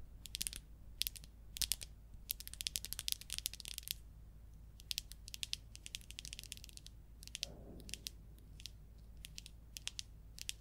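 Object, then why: Plastic marker pen. Long acrylic nails tap and scratch along the barrel of a small, hollow orange plastic marker or highlighter with a white cap, held in both hands. Quick, bright, dry clicks come in rapid clusters with almost no ring, and a brief softer scratch appears partway through. A low, steady hum sits underneath throughout.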